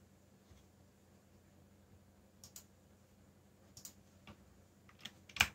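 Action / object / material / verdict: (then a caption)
tap / plastic mechanical keyboard / plastic / none. Fingertips type on the keycaps of a backlit black plastic mechanical keyboard, producing short, bright clicks that stop almost instantly. The keystrokes come in sparse bursts over a faint, steady low hum, and the final click is the loudest.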